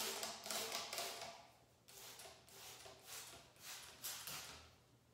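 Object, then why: Plastic trigger spray bottle. A hollow, translucent pink plastic trigger spray bottle is held in the hand and tapped with long acrylic nails along its body and trigger head. The result is quiet, bright, crisp clicking taps in irregular clusters, with a light hollow resonance that fades quickly between bursts.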